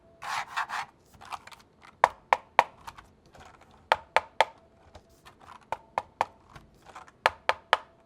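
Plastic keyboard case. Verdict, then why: Hollow. Taps on the plastic shell of a K630 keyboard give a series of sharp, short, hollow-sounding knocks centered around 930 Hz, with a few softer brushing sounds at the start. The case sounds more hollow than the K530's, which holds a battery and Bluetooth parts that make it feel more solid, though this does not noticeably change the typing sound.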